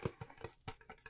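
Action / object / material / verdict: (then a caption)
tap / wooden chest / wood / none. Quick, soft taps on a wooden chest make short, dull knocks with a low thump and almost no ring. Nine taps are heard in just over a second, in an uneven rhythm.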